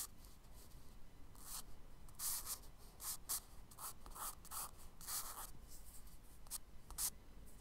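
A charcoal stick scratches tree branch lines onto the solid surface of a tan kraft paper page in a spiral sketchbook. Roughly a dozen short, bright, hissy scratching strokes come in quick bursts over a quiet low background rumble.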